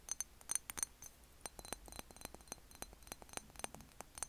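A medium, thick-walled rectangular glass Jo Malone cologne bottle with a black cap, apparently holding clear liquid, is held in one hand and tapped with the fingertips and short nails of the other, then turned so the palm and fingers pat its flat side. About 23 quick, irregular, quiet taps and clinks come through, each a bright, high glassy tick that dies away almost instantly.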